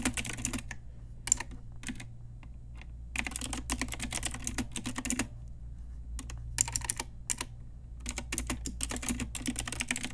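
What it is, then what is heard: Plastic mechanical keyboard. Both hands, using long nails and fingertips, type rapidly and continuously on a pink Ajazz retro typewriter-style mechanical keyboard with round plastic keycaps and a backlight, resting on a desk with a wrist pad. Bursts of short, sharp, bright plastic clacks come in quick runs separated by brief pauses. A steady low hum sits underneath throughout.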